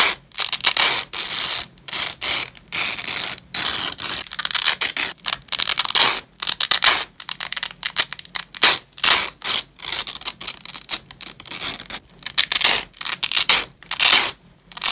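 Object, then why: Nylon hook-and-loop strap. Two hands in black nitrile gloves rip the hook side of a thin, flat purple nylon velcro strap away from the loop side on grey fabric. The result is a series of bright, crackling tearing bursts with brief silent gaps between them and almost no low end.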